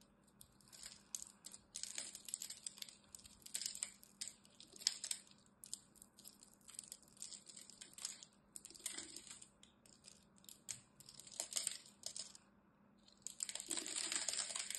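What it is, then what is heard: Dry bar soap scraped with a knife. A knife blade scrapes small pre-scored cubes off the face of a solid green bar of dry soap held in the hand, making a crumbly crunch. Quiet, bright crackling comes in many quick bursts with brief pauses between, and a denser, longer stretch of crunching at the end.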